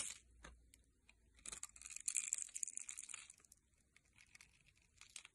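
A metal blade cuts a grid into a solid rectangular beige bar of soap held in the hand, then scrapes off small cubes. Quiet, dry, crackling scrapes and crisp crunches come in irregular bursts, almost entirely high and bright with little low end. The scraping peaks in a dense, louder stretch in the middle before trailing off into lighter ticks.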